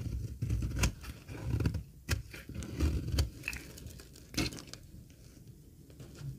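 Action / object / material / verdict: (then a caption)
scrape / laundry soap bar shaved with a metal blade / soap / none. A solid, dry green laundry soap bar is held in the hand while its edge is shaved with a metal blade. Crisp, dry scraping strokes with sharp, bright snaps sit over a low, muffled rumble. Loudness rises and falls unevenly as the shaving continues.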